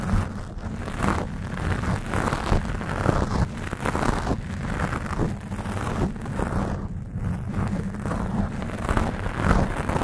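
Long nails scratch and grip the black foam windscreen on a Blue Yeti microphone, partly squeezing the foam. The result is a steady, muffled, low-heavy rumble of dense rustling and crackling scrapes that shift between faster and slower strokes.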